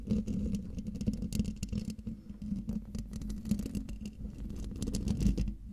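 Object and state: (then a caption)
Metal mesh microphone grille scratched and tapped. Long dark-painted nails of both hands scratch and tap the hollow metal mesh grille of a silver Blue Yeti microphone. It makes a dense, continuous rustling scratch with a steady low hum around 200 Hz and quick, bright clicks scattered throughout.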